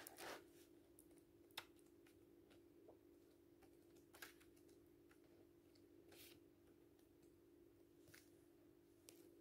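Hands flip the printed paper pages of an open paperback book with photos, letting them fall. Several soft, crisp paper rustles and brief bright flicks are heard at uneven intervals over a steady low hum, all at a quiet level.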